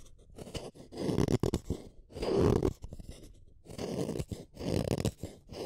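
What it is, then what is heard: Wooden colored pencil being shaved. A small metal blade shaves a solid blue wooden colored pencil, chipping off bits of the blue core. Repeated rough, rasping scrape strokes come in uneven bursts, with most of their weight in the low-mid range and little bright content.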